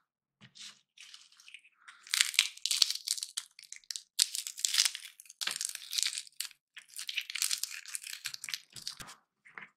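Dry roasted peanuts in their hollow shells are cracked and crushed between the fingers, with the shell fragments piling up on a pink surface. Bright, dry crackling and crunching comes in quick bursts with almost no low end and no ringing after each snap.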